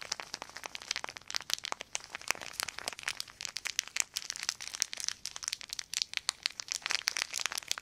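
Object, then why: Thin clear plastic sheet. A crumpled sheet of clear plastic film is crinkled and crushed between the fingertips of both hands. It makes a steady, dense stream of sharp, dry crackles and crinkles that are bright and high. There is almost no low end, and each snap cuts off instantly.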